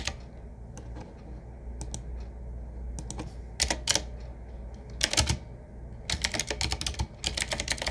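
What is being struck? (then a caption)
Retro mechanical keyboard with round metal-rimmed keycaps. Fingertips type with both hands on a medium-size, typewriter-style retro mechanical keyboard with round black keycaps set in metal rings on a wood-finish frame with a hollow case. Bright, sharp key clicks come in scattered single strokes and then faster bursts, over a steady low hum.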